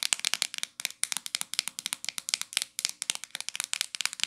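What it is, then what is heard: Plastic shampoo bottle tapped with fingernails. Long acrylic nails tap and scratch the body and flip cap of a hollow, medium-size, teal translucent plastic L'Oreal shampoo bottle held in the hands. A quick, uneven run of dry, bright clicks and short scratchy strokes comes through, each dying almost instantly. The sound is thin and high with no low end.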